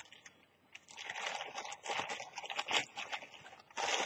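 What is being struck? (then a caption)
Thin plastic carrier bag. Fingers with long nails tear and crinkle a thin, empty, partly torn orange plastic carrier bag with a Kwantum print. After a near-silent start, dense bright crackling and crunching bursts fill the clip with no low end, ending in a loud final rustle.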